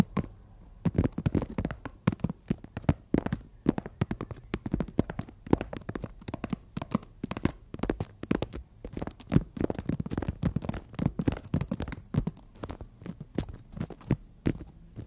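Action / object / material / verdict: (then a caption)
scrape / emery board nail file / emery board / none. Fingertips and long nails tap and scratch a long, flat, solid emery board nail file. A dense, uneven run of short, dry taps and scrapes goes on throughout, each dying away at once, with a dull low thud under brief bright clicks.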